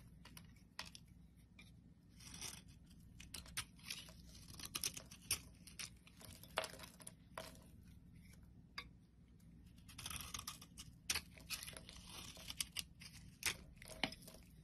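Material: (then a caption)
Soap. A metal blade scrapes a solid oval pale pink soap bar held in the palm, sending flakes falling. Quiet, bright, crisp scraping and crunching strokes come in uneven bursts over a faint steady low hum.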